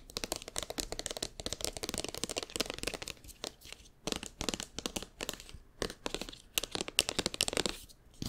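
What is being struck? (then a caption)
Soft plastic squeeze tube. A hand-sized, seemingly filled Cetaphil-branded soft plastic squeeze tube, held in both hands, is tapped and squeezed with fingertips and nails. It gives a dense run of quick, bright, crinkly clicks and crackles with almost no ring, easing into sparser bursts toward the end.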